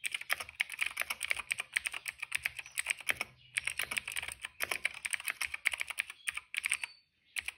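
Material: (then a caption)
Plastic. Fingertips type fast on a cream plastic retro mechanical keyboard with plastic keycaps and a hollow case. It makes a quick stream of bright, hollow clacks around 2.2 kHz that stop sharply, with short pauses near 3.3 seconds and 7 seconds.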